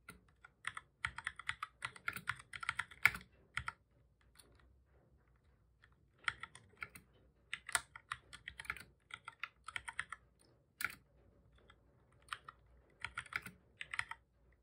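Fingertips of both hands type on a black full-size plastic computer keyboard, producing bursts of quick, bright plastic key clicks with very short decay. The typing comes in rapid flurries, pauses for about two seconds near the four-second mark, then resumes in similar bursts.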